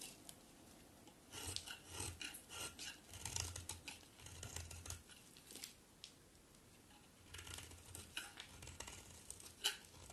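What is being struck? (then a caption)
Bar of soap scraped with a metal blade. A metal utility knife blade is scraped across a solid white bar of soap held in the hand, cutting off rasping shavings. The bright, dry scrapes come in quick bursts with a soft low thud under each, pause briefly in the middle, then resume, ending on a sharper cut.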